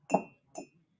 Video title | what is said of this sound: BUY THESE ITEMS - so I can shop more 🤣 | hear the ring it's not like a thud